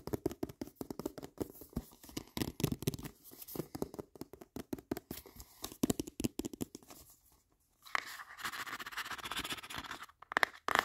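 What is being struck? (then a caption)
Cardboard product box. Fingertips and nails rapidly tap and scratch the faces and edges of a hollow, medium-sized, dark grey printed cardboard retail box with a barcode, held up in the air. Dense, dry, crackling taps run for about seven seconds, then a brief pause. A steadier, brighter scratching follows, ending with a few final taps.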